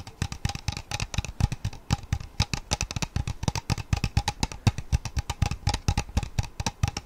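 A large, clear, empty-looking plastic water bottle with a white plastic sport cap and a purple label is held in both hands and tapped and scratched along its sides with fingertips and pink-painted nails. Many quick, uneven taps give hollow, low thumps mixed with bright, crisp clicks and scratchy rustles, with a faint ringing tone in between.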